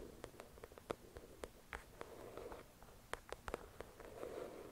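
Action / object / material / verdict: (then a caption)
tap / paperback book with glossy cover / paper / none. Long acrylic nails tap on the glossy cover of a thick paperback novel resting on a white cloth. Quick, light, clicky taps come in an uneven rhythm, each with a soft mid-range body and a brief bright tick. They die away almost instantly over a quiet, faintly rustling background.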